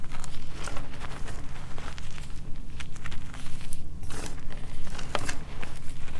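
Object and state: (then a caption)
Crushed gym chalk powder. Bare hands dig their fingertips into a large loose pile of crumbly white gym chalk powder and small chunks in a plastic-lined container, squeezing, crushing and rubbing it through the fingers. The result is a steady stream of soft crunching and crinkling over a dense low rumble, with quick bright crackles scattered throughout.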